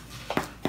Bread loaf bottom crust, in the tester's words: if it sounds Hollow and it's done on the bottom those are done